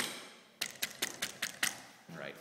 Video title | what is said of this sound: 5 Magnolia Place, Dorchester, MA | the living room has an awesome uh marble mantle